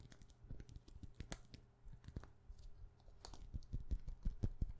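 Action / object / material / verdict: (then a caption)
tap / frosted plastic perfume bottle cap / plastic / none. Long painted nails tap rapidly on the hollow white frosted plastic cap of a glass perfume bottle held in the hand. The quick, uneven clicks land as soft, dull, low thumps with almost no ring, growing slightly louder toward the end.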